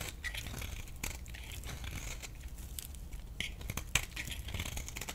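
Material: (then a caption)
Soap. A metal blade scrapes a thinned, solid yellow bar of soap held in the palm. The result is a steady, dry, crinkly scraping with bright, crackling texture over a low background rumble. A few sharper scratches stand out near the end.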